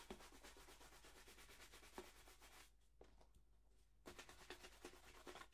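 A hollow, empty black polished leather dress shoe is held up and brushed back and forth across its toe and upper with a wooden-backed horsehair brush. Quick, rhythmic bristly swishes with soft hollow taps fill the clip, easing into a quieter, lighter rubbing in the middle before the brisk strokes resume.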